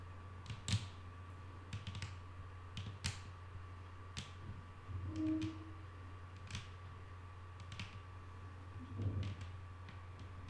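Long nail tips tap a solid, flat wooden tabletop in soft, scattered clicks that die away almost instantly. A steady low hum and a faint tone continue underneath throughout.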